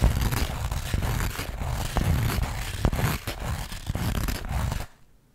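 Long acrylic nails scratch and rub the coarse weave of a flat linen or burlap pouch held in both hands. The result is a dense, rough, continuous scratching with heavy low-end rumble and occasional sharper ticks. It stops abruptly near the end, leaving near silence.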